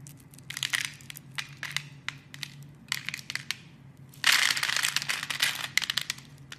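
A metal blade carves cubes off a hand-sized, solid mauve-pink soap bar scored in a grid. Bright, crisp crunching and scraping bursts come in quick clusters over a faint low hum. The densest, loudest stretch of crumbling starts about two-thirds of the way through.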